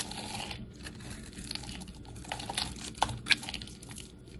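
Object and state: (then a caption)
Bar of soap being shaved with a blade. A utility knife blade scrapes and shaves the edge of a solid rectangular bar of pink-and-white striped soap held in the hand. A steady, bright, crisp crackling and shaving texture runs throughout. Two sharper snaps stand out near the end.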